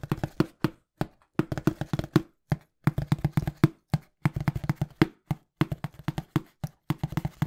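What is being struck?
Cardboard box.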